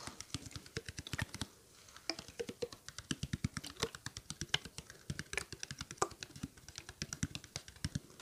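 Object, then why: Small plastic water bottle. A small, clear, mostly empty hollow plastic water bottle with a blue cap is held close in front of the mic and tapped quickly with fingertips and nails. Around 60 short, dry taps mix a soft low thump with a bright clicky tick, and each dies away almost instantly. The tapping pauses briefly near the 1.5-second mark.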